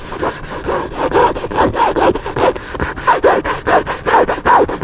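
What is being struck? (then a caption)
Hardcover book with paper cover. Fingertips and nails rapidly scratch the paper cover of a large black hardcover book lying flat and solid. The sound is a quick, uneven run of dry rasping strokes, each with a bright hiss over a midrange scratchy tone, swelling and fading in a loose rhythm of about two and a half strokes per second.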